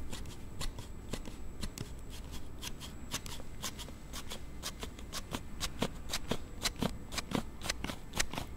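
A palm-sized, hard plastic slide-type card case on a Galaxy Note7 phone is held in both hands near the recorder while the thumbs repeatedly slide its rear panel open and shut. The result is a quick, irregular run of bright, clicky snapping slides at roughly two per second over a soft low rumble.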